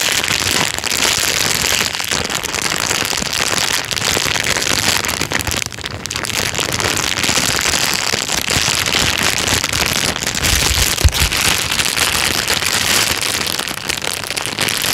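A thin, clear plastic bag is crumpled in the hand and then pressed flat with the fingers. It makes a dense, continuous crinkling and crackling that is bright and high with little low end, at a steady level throughout, with a few sharper crackles standing out near the end.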